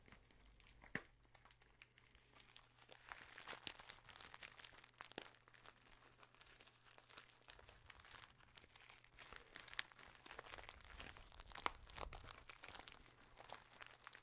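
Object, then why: Kraft paper bag. Fingers crinkle and handle a small brown kraft paper bag with a label that appears to be filled, close to the microphone. Quiet, dense, bright crackling and rustling runs throughout, with a few sharper crisp snaps standing out over a faint steady low hum.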